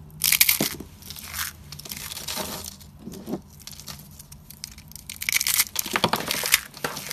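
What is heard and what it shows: A bare hand squeezes rolled pink and cream dry soap curls and thin soap slices, crushing the brittle solid curls into flakes on a white surface. Bright, dry crunching and crackling come in dense bursts, loudest near the start and again toward the end, with quieter crumbling in between.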